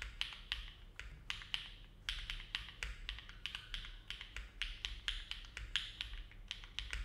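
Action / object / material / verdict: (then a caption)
tap / mechanical keyboard with metal plate and plastic keycaps / plastic, aluminum / none. Fingertips of both hands type continuously on a compact Neo70 mechanical keyboard with an aluminum plate, foam dampening and dark GMK plastic keycaps, resting on a desk mat. Short, bright, clacky keystrokes peak around 3 kHz and fade quickly, arriving at a steady, unhurried pace. A faint low hum runs underneath throughout.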